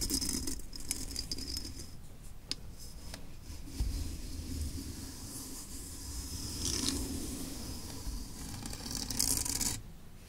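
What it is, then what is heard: Steel M1 helmet. Fingertips and long nails rub and scratch across the textured painted shell of a hollow, olive-drab steel M1 combat helmet resting on a desk. The sound is a steady, low, hollow rumble overlaid with bright, hissy scratching. A few faint sharper clicks and small bursts of brighter scraping stand out along the way, before the scratching stops abruptly near the end.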